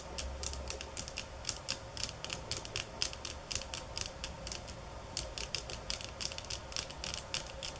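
Long fingernails tap on bamboo sticks at varying speeds and intensity, producing a rapid series of short, bright, dry clicks with almost no ring. The taps fall in irregular bursts over a faint low hum and a steady mid-range tone.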